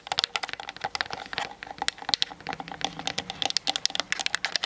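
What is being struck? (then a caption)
Plastic camera body. Long nails tap rapidly with both hands on the hollow plastic body of a Canon DSLR camera. The result is a fast, uneven stream of sharp, bright clicks with almost no low end and no ring. Each tap dies away instantly.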